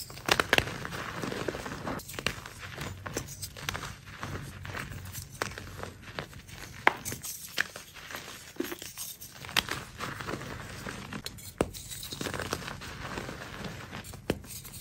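Pasted gym chalk (magnesium carbonate) pieces, solid and crumbly, are squeezed and crumbled between both hands with long orange-painted nails over a tray of chalk powder lined with chalk blocks. It gives a steady run of dry, bright crunching and crinkly crackles, with sharp snaps as pieces break apart. The chalk crumbles and releases powder.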